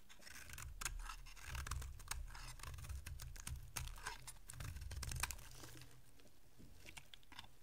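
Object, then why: Bar of soap. A solid white dry bar of soap held in the hand is scraped and carved with a small metal blade, and thin flakes break off. It gives a steady run of crisp, dry scraping and crackling ticks with bright, brittle edges over a soft low rumble, swelling slightly in the middle and easing off toward the end.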